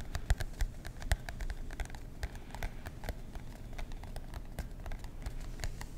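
Fingertips tap and scratch the cardboard cover of a marbled composition notebook held in both hands. The result is a quiet, irregular patter of short, dry clicks with soft low thumps, and faint scratching between the taps.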